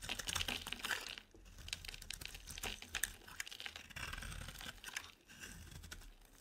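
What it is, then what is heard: Dry bar soap being carved. A utility-knife blade scrapes and carves curls off the corner of a rectangular, solid, white bar of dry soap held in the hand. Quiet, crisp, bright scraping and crackling strokes come in rapid bursts with short pauses, each sound dry and clipped with no ring.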